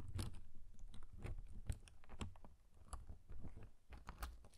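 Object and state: Paper pop-up harp card.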